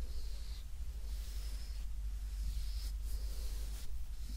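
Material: Nothing is struck.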